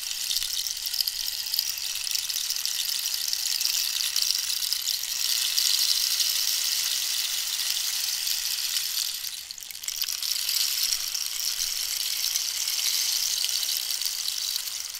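A long, hollow wooden rainstick made from dried cactus, with a holed surface, is held near-vertical and tilted while long pink nails tap and scratch along the wood. It gives a steady, bright, rain-like rushing hiss with fine crackling taps, with almost nothing in the low range. The sound dips briefly near the middle before the pouring hiss resumes.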